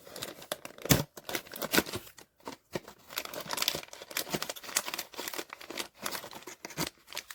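A sealed POP MART Skullpanda The Sound cardboard blind box holding a vinyl figure is shaken, producing a series of quick, dry rattling and crinkling bursts with brief pauses. When opened, the box is confirmed to contain The Vigilance figure.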